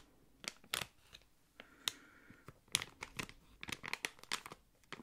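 A small, thick, hollow clear plastic packaging bag holding a card and a slim item is crinkled and squeezed with fingertips and long nails. It gives off a quiet, irregular series of sharp, bright crackles and crinkles that cut off almost at once, with little low end.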